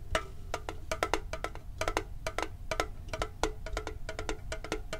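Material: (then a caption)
Metal. Fast tapping with fingertips and nails on a hollow red and blue printed metal Pokemon card tin with a lid produces a quick run of about 27 short, dry clicks and knocks. Each tap has a brief hollow ring, and a low rumble sits underneath throughout.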